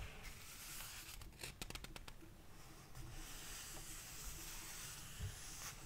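Fingertips rub across the paper pages of a thick, large hardcover book lying open on a table, then turn and flip them. Soft, papery rustling and scratching fill the clip, with a quick burst of crisp flicking ticks near the middle as pages are riffled.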